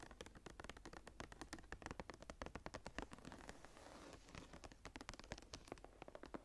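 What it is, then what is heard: Embossed leather journal with metal clasp. Long nails scratch and tap quickly across the cover of a closed brown embossed leather journal with a blue stone cabochon and a metal clasp, lying flat. Dense, crisp, dry clicks and scrapes run throughout, briefly blurring into a continuous rough scratch near the middle. The sound is soft and quiet overall.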